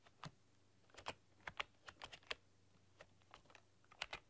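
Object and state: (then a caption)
Plastic computer keyboard being typed on. Long dark-polished nails and fingertips type on a full-size plastic computer keyboard with black keycaps and a rainbow backlight, pressing and clicking the keys. About fourteen short, bright clicks sound in an irregular rhythm, some in quick pairs, each ending instantly with no ring over a faint low hum.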